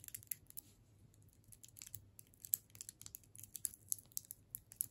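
A solid hard sugar candy cane in clear plastic wrap, held in the hands, is tapped and scratched with long nails. The result is quiet, irregular bright clicks and crinkly scratches with almost no ring, over a faint low hum.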